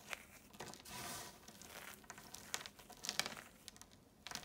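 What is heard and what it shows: Bare fingers dig into a pile of small, dry blue, green and red chalk flakes on a marble surface, squeezing and crumbling the pieces and letting them fall back onto the pile. The result is a quiet, bright, dry crumbling and crinkling, with soft gritty rustles broken by sharp little ticks and crunches as the fragments break and drop.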